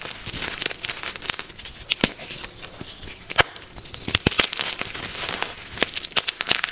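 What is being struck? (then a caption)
Magnesium carbonate gym chalk block. A soft, solid white magnesium carbonate gym chalk block is squeezed and cracked in both hands by fingers and thumbs, then rubbed and crushed against a pile of its powder. A steady bright, dry crackling and crumbling texture is punctuated by many sharp, very short snaps. The sound is concentrated in the high range with almost no low end.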